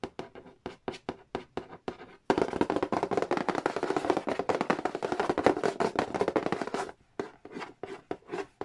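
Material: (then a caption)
Cardboard. Fingernails trace and scratch across the glossy printed cardboard lid of a large, flat, hollow Nintendo edition Monopoly box. Quick separate strokes give way to a dense, continuous stretch of fast scratching with a hollow papery rasp, then slow back into spaced strokes at the end.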